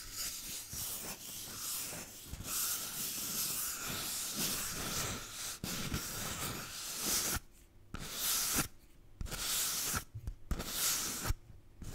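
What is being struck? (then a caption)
Paper toilet roll. A paper toilet roll is tapped and scratched, giving a steady bright, hissy scratching with soft low thumps for the first several seconds. It then breaks into short separate bursts of scratching with brief quiet gaps between them.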